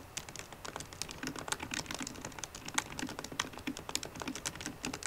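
Fast typing with the fingertips and painted nails of both hands taps the black plastic keys of a solid 13-inch silver aluminium MacBook Pro laptop keyboard. A rapid, steady stream of short, crisp, bright clicks with very quick decay continues throughout, with no speech.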